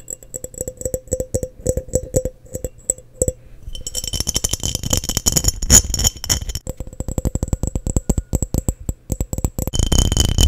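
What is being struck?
Glass mason jar.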